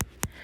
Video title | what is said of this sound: HOW TO DO DIP POWDER NAILS AT HOME WITH TIPS - ROSSI NAILS | you can tap on the nail and hear like a hollowness